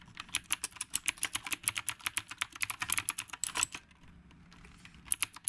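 Both hands type with their fingertips on the round plastic keycaps of a retro typewriter-style mechanical keyboard. About thirty bright, sharp clicks come in a fast run, then a short pause, then a few final taps. Each click is crisp and stops almost instantly.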